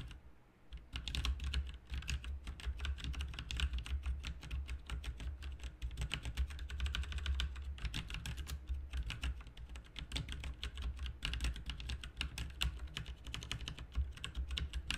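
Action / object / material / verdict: tap / plastic mechanical computer keyboard / plastic / none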